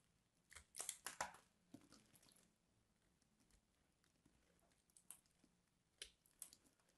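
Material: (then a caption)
Soap. A craft knife scrapes the surface of a solid purple bar of soap held in the hand, and flakes crumble away. Quiet, crisp, bright scraping crunches come in a dense burst early on, then fall to sparse, short, dry crackles with brief pauses between them.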